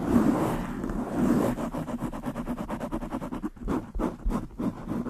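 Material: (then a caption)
Foam. Long nails of both hands rapidly scratch a black foam windscreen on a desktop microphone. A close, muffled rasp fills the low and mid range, starting as a steady scratch and breaking into quick, uneven strokes.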